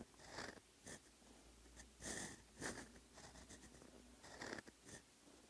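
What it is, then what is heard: Pen nib writing on notebook paper. A steel fountain pen nib scratches across a flat, lined paper notebook page while handwriting Korean characters. Short, irregular bursts of bright, dry scratching rise and fall with each stroke, separated by faint pauses over a low, steady background hum.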